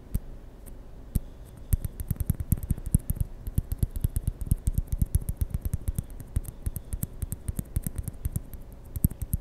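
A small white hollow plastic ping pong ball is turned in the fingers and tapped with fingertips and nails close to the mic. Rapid, irregular taps and clicks continue throughout, with short, dry, low thuds and brief bright clicks over a faint steady hum.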